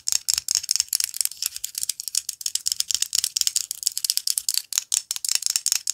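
Long fingernails tap and scratch the thin shell of a whole white chicken egg held in the fingers. The result is a rapid, steady run of crisp, bright clicks and scratchy ticks, entirely high-pitched with almost no low end. Each tick dies away almost instantly.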